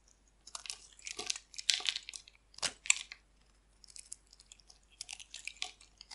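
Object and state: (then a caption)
Dry bar soap being carved. A solid oval dry green bar soap with an embossed logo is held in the hand and scraped and carved with a metal blade, shedding thin flakes. Bursts of dry, bright crunchy scraping come and go irregularly, with quiet gaps between them.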